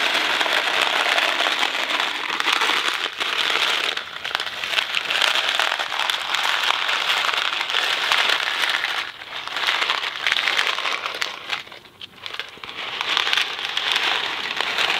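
A thin-cardboard Kraft macaroni & cheese box filled with dry pasta is held by one hand from the top and shaken, so the pasta rattles inside. The sound is a dense, continuous, bright rattle with almost no low end, with brief quieter dips around 4, 9 and 12 seconds.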